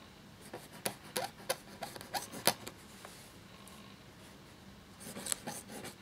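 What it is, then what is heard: Parchment paper scratched by quill. A black feather quill nib scratches across a thin cream parchment-style paper sheet lying flat while writing. About ten short, bright, dry scratching strokes come in an irregular burst, then a quiet pause, then a few more faint strokes near the end.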